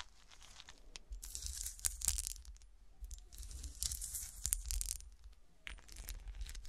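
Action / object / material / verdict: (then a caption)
scrape / small cut-glass golf shoe figurine with a frosted, textured surface / glass / none. A small solid cut-glass golf shoe ornament, with a frosted, textured surface and studded sole, is held and then set on a table while fingertips and long nails scratch its textured glass. The result is a series of bright, dry, scratchy rasps in irregular bursts over a low, soft rumble, with brief clicks from the nails.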